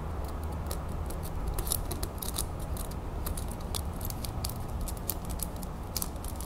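A small, solid gold-tone metal crown brooch set with green and purple glass stones and pearls is held in the fingers over a plate, tapped and scratched with long acrylic nails. The clip is full of quick, bright clicks and light scratching over a steady low hum, with each tap dying away almost at once.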